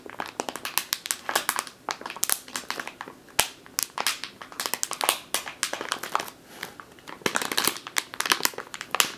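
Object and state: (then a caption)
Plastic bag of flour. A full plastic flour bag with a printed label, lying on a wooden table, is squeezed and scratched with long green-painted nails. The result is steady, bright plastic crinkling and crackling in quick bursts for about nine seconds, with almost no low end.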